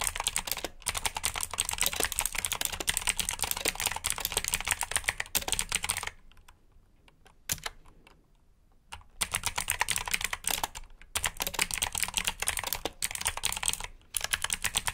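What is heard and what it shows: A black backlit plastic mechanical keyboard with clicky blue switches and a hollow case rests on a carpet while both hands type on the keycaps with fingertips and short nails. Rapid, bright, clicky keystrokes run in dense bursts, with a quieter pause from about 6 to 9 seconds and brief gaps near 11 and 14 seconds. Each click is short and dry with almost no ring.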